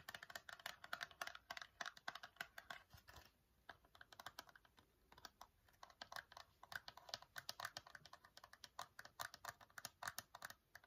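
A small, hollow Nair facial wax strips cardboard box is held in the hands and rapidly tapped with fingernails. The result is quick, dry, clicky taps with a bright, papery tone, almost no low end, and very short decay. There's a brief lull in the tapping after about three seconds before it picks up again.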